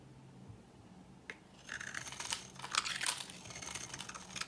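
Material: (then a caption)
Soap. A solid, dry, old green embossed bar of soap held in the hand is scraped with a metal blade into flakes. After a quiet start and a single sharp tick, dense, dry, crackling scrapes follow in bright bursts, loudest near the middle, as the soap shaves away into flakes.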